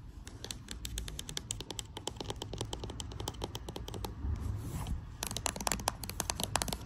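Long acrylic nails rapidly tap and scratch along the side and back of a pink plastic cosmetic tube, hollow and filled with product. Quick, bright clicking taps run throughout, briefly giving way to a softer scratching stretch before the tapping resumes over a low, steady rumble.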